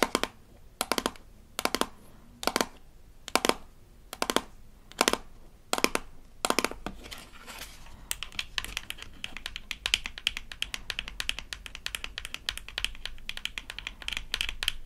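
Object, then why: Small rigid plastic toy toothpaste tube. A small rigid plastic toy toothpaste tube from a Melissa and Doug Super Smile Dentist Kit is turned in the hands while long nails scratch its back label and tap its blue cap. Nine short, bright scratchy bursts come with quiet pauses between them, then a soft rustle. After that comes a steady stream of rapid, crisp clicks and scratches through to the end.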